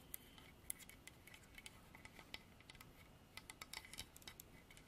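Long artificial nails tap rapidly on a solid, dark hardwood carved horse statue. The quiet, sharp, bright clicks die away almost instantly over a steady low background hiss.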